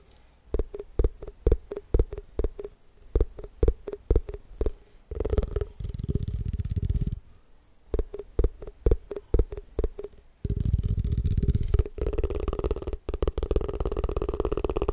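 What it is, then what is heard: Plastic food container. A small, hollow, white round plastic tupperware container is held in one hand and tapped quickly on its side with the fingertips. Quick bursts of dull, hollow clicks with a faint mid-pitched ring alternate with stretches of rapid, blurred drumming that sound like a continuous low rumble.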